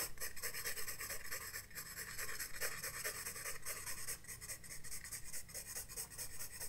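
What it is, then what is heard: Pencil shading on a sketchbook page. A graphite pencil scratches and shades across the page of a spiral-bound paper sketchbook lying flat on a desk, in quick repeated short strokes. The scraping is dry and bright, pulsing at roughly two strokes per second over a faint low rumble.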